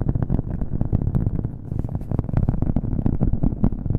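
A round, flat, solid cork coaster held next to the mic is tapped quickly with fingernails. The rapid taps blur into a dense, dull, low-pitched patter with an echo effect added. There is little brightness above the muffled thuds.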